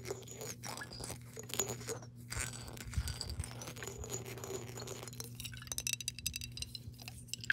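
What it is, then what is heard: Glass jar with water. Long nails tap and scratch the body of a clear glass mason jar with a metal screw lid, partly filled with water, as the jar is turned. Quick, crisp clicks and rasping scrapes bring bright glassy tinkles. They grow denser and sharper toward the end over a steady low hum.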